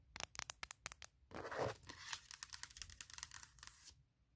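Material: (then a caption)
Aluminum. Long painted nails tap and scratch the top of a closed, large MacBook Pro with a hollow aluminum shell lying on a leather surface. A quick run of sharp, bright clicking taps is followed by a broad, rasping scratch. A dense stretch of crisp, high nail clicks and scrapes then ends in near silence.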